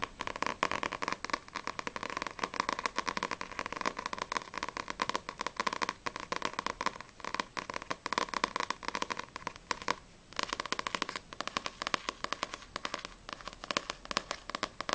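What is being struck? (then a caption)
Paperback book with a glossy paper cover. Long grey-painted nails rapidly tap and scratch the glossy paper front cover of a small paperback manga, Sprite vol. 2, with a solid stack of pages, held upright in both hands. A dense stream of sharp, dry, crackly clicks with a bright papery edge and a midrange tone runs throughout, dropping away for a brief pause around the ten-second mark before resuming.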